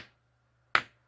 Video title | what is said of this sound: 알카라인 건전지(일회용 건전지) 1초안에 새것과 헌것 구분하는 방법 | 둔탁한 소리가. 이건 1.5V 이상이라는 거예요.